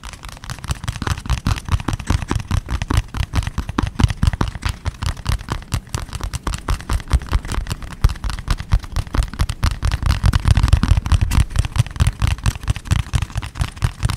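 Fingertips and nails rapidly scratch and tap a small, closed, printed cardboard box held in both hands. The result is a dense, irregular stream of dry, muffled taps and scratchy rustles, mostly low and thumpy, with each hit stopping short without any ring.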